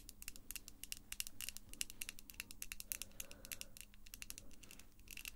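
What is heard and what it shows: Long pink acrylic false nails click against each other near the face. A fast, irregular stream of sharp, bright taps with almost no ring sits over a quiet low hum.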